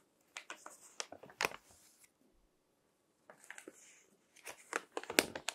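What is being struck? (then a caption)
Paper magazine pages. Fingertips flip the thin text pages of a crinkled paper magazine lying on a table, crinkling the paper. Quick, bright rustles and crackles come in two bursts with a short quiet gap between them, each page turn sharp and dry with almost no ring.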